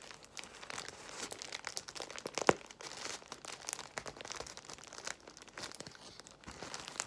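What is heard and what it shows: Long white nails scratch and tap on a large bundle of clear plastic bubble wrap while fingers squeeze it, giving a steady, dense crinkling and crackling with bright, papery texture and little low end. One sharper, louder snap stands out about two and a half seconds in, then the soft crinkling continues to the end.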